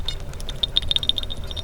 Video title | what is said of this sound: Détection : ce chemin de fortune nous surprend , que s'est-il passé ici ? | on devrait avoir le son de clochette. Elle est dedans, je l'entends.